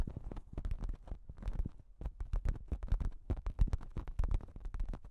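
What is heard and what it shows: Long pink nails scratch and tap a thin pink plastic shower cap with a cat print stretched over a microphone. The result is a dense, irregular run of quick crinkly taps and scrapes with heavy, muffled low thumps and short bright ticks that die away almost instantly.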